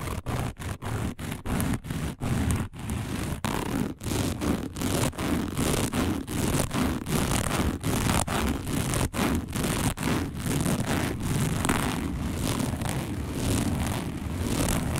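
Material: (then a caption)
Woven fiber. Long nails on both hands scratch fast across a round, dark, coiled woven fiber placemat. The result is dense, continuous rustling and scraping with bright hiss over a low rumble. Short dips in the loudness mark the quick strokes.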